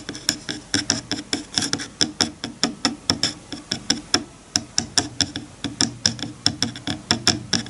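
Fingertips rub and scratch across the teeth of a wide-toothed bamboo hair comb resting on a bamboo cutting board. The result is a quick series of about 37 sharp, bright ticks, each dying out almost instantly over a faint hollow, woody undertone.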